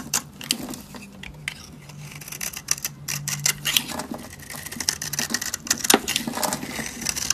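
A solid, dry pink soap bar held in the hand is carved with a short metal blade into layered flakes. It produces a dense run of crisp, bright scraping and crackling clicks over a faint low hum, with some louder snaps near the end.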